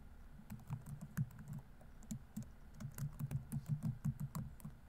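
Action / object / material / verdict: tap / plastic laptop keyboard / plastic / none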